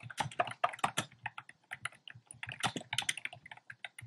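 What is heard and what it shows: Fingertips type fast and densely on a compact plastic mechanical keyboard with round pastel plastic keycaps in a dark frame. The short, sharp clacks arrive in irregular bursts, each with a hollow midrange knock and a bright click that dies away almost at once.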